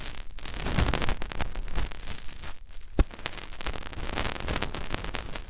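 Fingertips rub the outer ear folds of a soft silicone ear on a white binaural microphone, making a steady close-up scratching and rustling texture heavy in low rumble. A brief dip in the rubbing is followed by a single sharp tap or pop around the three-second mark, and then the crackly friction continues evenly to the end.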